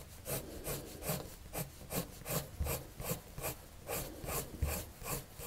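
A red-patterned colored pencil rubs across a white paper sheet on a table in steady back-and-forth drawing strokes. Each stroke makes a soft, dry scratch with a bright, hissy top and a low, muffled body, repeating at a moderate, somewhat uneven pace at low volume.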